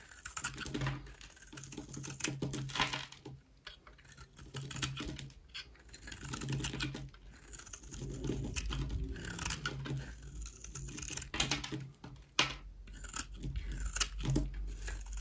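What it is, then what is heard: Dry bar soap being shaved. A solid, dry oval pink and white bar soap, held in the hand, has its surface scraped and shaved with a utility knife blade. The result is bursts of dense, dry, bright scratching and crackling, separated by short pauses, over a steady low hum.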